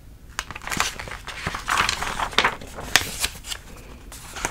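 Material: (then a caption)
Glossy paper. A thick soft-cover clothing catalog with glossy paper pages is held in one hand while the fingers flip and riffle through the pages. Crisp, bright paper snaps and crinkling rustles come at an irregular pace, each page turn sharp and short, over a quiet background.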